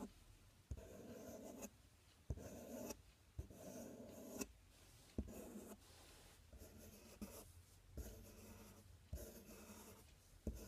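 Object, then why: Corrugated cardboard box. A fingernail scratches and taps the front panel of a large, empty, open corrugated cardboard box. Bursts of dry, papery scratching with a hollow, boxy resonance alternate with quiet gaps, punctuated by nine sharp, short taps.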